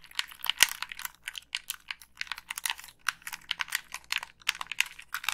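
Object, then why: Plastic game controller. Long pink nails tap the casing and click the buttons of a black, hollow plastic Xbox 360 gamepad held up close. A rapid, uneven run of short, crisp, bright clicks and taps follows, with almost no low end and no ring after each hit. The sound stays quiet throughout.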